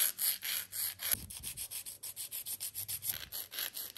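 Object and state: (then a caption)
Plastic nail extension being filed. A white and purple 100/180 emery nail file is stroked along the side of a long, clear stiletto plastic gel nail extension held on a gloved hand. About 24 quick, uneven strokes of bright, hissing scratching are heard, each a short rasp with almost no low end. The first few strokes are slower and longer, and the rest come faster.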